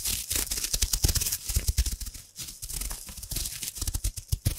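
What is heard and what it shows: A hand-sized gold metallic foil wrapper is scrunched and crinkled with long nails right beside the microphone. Dense, fast crackling fills the clip, with bright, sharp crinkles over soft, low handling thumps. Each crackle stops almost instantly, and there is a brief quieter lull just past the midpoint before the crinkling picks up again.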